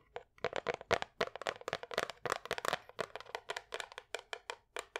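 Long nails tap quickly on the wooden edges and face of a small, light wooden picture frame holding a painting behind glass, held up close. About 26 dry, sharp clicks come in an uneven rhythm, each with a bright, crisp attack that dies away almost instantly. The taps have a light, hollow midrange tone and almost no low end.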